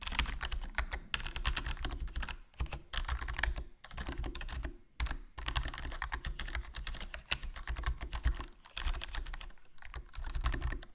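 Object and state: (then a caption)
Plastic membrane keyboard being typed on. Fingertips type continuously on a HyperX Alloy Core RGB plastic membrane gaming keyboard with a foam mod, a black plastic body with a hollow case, and black plastic keycaps. Rapid, short, muffled clacks come in bursts with a few brief pauses. Most of the energy sits in a deep low thump, with a lighter bright tick on top.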